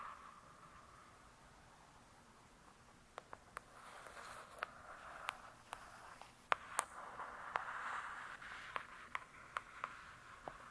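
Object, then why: Hardcover book with glossy cardboard cover. Long acrylic nails on one hand make slow scratching strokes across the glossy, paper-covered cardboard cover of a thick hardcover book lying flat and solid. A soft, quiet scratching rasp centered in the midrange swells and fades, broken by about fifteen short, bright clicks that die away instantly.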